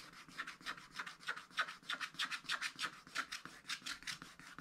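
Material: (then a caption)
Coated paper. A wooden stylus scratches the remaining black coating off a wax-coated scratch-art paper page from a scratch-art book, lying flat on a table. Rapid, short, dry scratching strokes come about three times a second in a slightly uneven rhythm. Each is a quiet, bright rasp with no low body and almost no ring.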